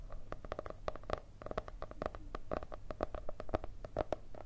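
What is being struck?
Cardboard hardcover notebook.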